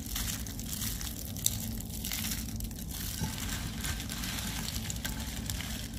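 A pile of dry pale-green soap curls in a white tray, with a small pinkish soap piece underneath, is grabbed and crushed in both hands into crumbs. A steady, bright crinkly crunching runs over a low rumble, with a sharper snap near the middle.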